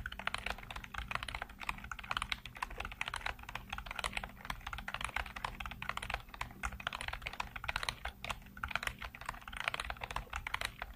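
Fingertips type continuously on the keys of a black plastic computer keyboard with hollow keycaps. A dense, steady stream of quick, hollow plastic clicks and taps, each dying away almost instantly, sits over a faint low hum throughout.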